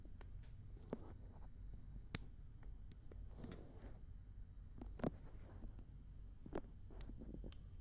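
Fingertips and long red painted nails rub and scratch both soft silicone ears of a black binaural dummy head microphone, directly on the microphone. Close, quiet, low, muffled rubbing rumbles on throughout, broken by short, sharp nail scratches and clicks that flick up into brighter tones.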